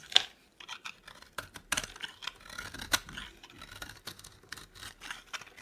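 A metal blade scrapes and carves thin curls off a dry, solid oval bar of bright green soap held in both hands. The clip is a quick, irregular series of crisp, dry scraping strokes, bright and hissy and centred around 3.5 kHz, with almost no low end. Each stroke cuts off sharply with no ring.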